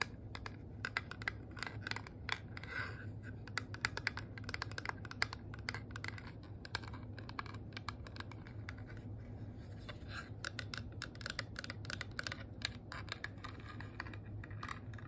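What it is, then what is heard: Small metal compact tapped with nails. A small, flat, hollow rose-gold metal compact shaped like a handbag, with a ridged face, is tapped rapidly with long nails and fingertips. The taps are quick, dry, bright clicks that die away almost instantly, sometimes with a faint scratchy edge, over a steady low hum.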